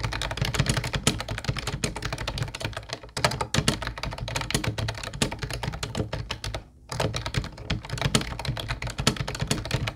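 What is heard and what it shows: Fingertips of both hands type on a mint-blue plastic Ubotie retro keyboard with round white keycaps. Rapid, dense clacking keystrokes ring bright with a low plastic thump beneath, with brief pauses around 3 seconds and near 7 seconds.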